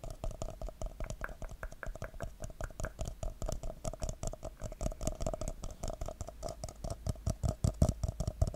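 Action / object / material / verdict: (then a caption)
tap / paper coffee cup / paper / none. Fingertips and nails tap the side of a hollow, empty red paper coffee cup with a white Christmas-tree print, held upside down near the mic. The result is a fast, uneven patter of short, dull, low taps with almost no ring, over a steady mid-pitched hum from the cup's hollow.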